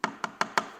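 Four quick taps on the fiberglass skin of a boat transom around a fastener hole give a hollow, knocking sound centered near 1 kHz with brief ring. The hollow sound shows the glass has not adhered to the core there, so the spot needs to be addressed.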